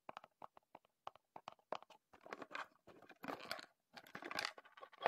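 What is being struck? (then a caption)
Small cardboard box. Fingertips tap and scratch the surfaces of a small, closed, printed Heddon cardboard lure box held in both hands. Quiet, dry, crisp taps come first with no ring, then give way to longer, rustling scratch strokes with a papery crunch. The sound sits mostly in the mid-range with some bright edge.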